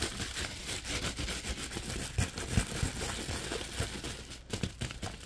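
Fingers bend, shake and crinkle an empty orange padded plastic bubble mailer envelope. A steady, dense crinkling rustle runs throughout, with short, sharper crackles popping out now and then over a low, soft rumble.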